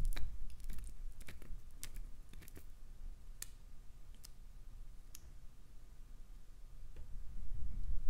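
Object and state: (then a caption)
Glycerin soap bar scraped by nails. Long nails scrape and crumble the ridged surface of a chunk of solid, translucent green glycerin soap held in the hand. Sharp, bright clicks and crackles come in an uneven cluster early on, then thin out to sparse ticks over a steady low rumble. The rumble swells again toward the end.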